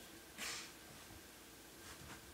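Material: Nothing is struck.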